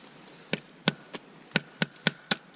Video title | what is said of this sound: Lay Family Farms S1.E01 - Kick Starting The Maple Season | Now it's hollow. Oh. Yeah. It's in.